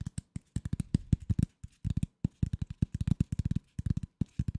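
Fingertips and nails tap and scratch the surface of a flat corrugated cardboard sheet held in both hands close to the microphone. The result is a quick, irregular run of 27 short, dry, dull taps with almost no ring, weighted toward low thumps.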